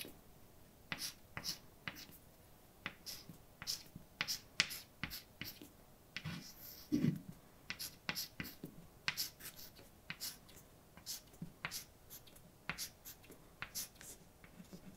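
A hand writes with white chalk on a large, flat, dark blackboard, scratching out letters. The clip is a quiet, steady run of short, sharp taps and bright, dry scrapes as each stroke lands, with brief pauses between letters.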